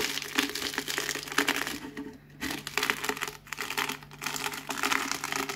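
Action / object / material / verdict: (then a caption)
scrape / potato chips / potato chips / none. A cardboard Pringles can is rolled by hand over a pile of crisp potato chip pieces, crushing them. Dense, bright crackling and crunching comes in rapid bursts, with brief lulls in between, and a faint steady hum underneath.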